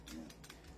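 A non-upgraded Trex 2011 Hi-Capa airsoft pistol is held and shaken, and its loose metal barrel rattles with short, bright metallic clicks over a low, steady hum. The barrel is loose because the pistol lacks a fixed-barrel upgrade.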